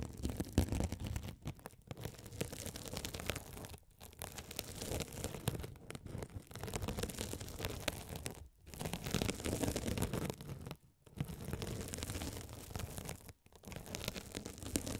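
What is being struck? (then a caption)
Mesh-covered foam scouring sponge scraped by a spiked metal roller. A gold metal spiked roller is rolled over a hand-sized blue scouring sponge with a sparkly woven glitter mesh cover, soft and solid, held over the microphones. It makes a dense, continuous scratchy rasping with a deep, muffled low end and fine bright crackle. Several brief pauses break the strokes.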